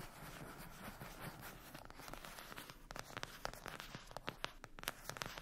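Long acrylic nails scratch and tap a flat, rectangular, closed cardboard eyeshadow palette lying on a fluffy blanket. A soft, continuous papery scratching fills the first half, then gives way to a quick series of sharp, dry, bright taps with almost no ring.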